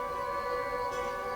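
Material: Nothing is struck.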